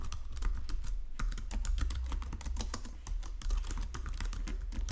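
A white plastic Logitech keyboard resting on marble is typed on with fingertips and nails. It produces a steady run of short, bright tapping and pressing clicks with very little ring, over a constant low hum.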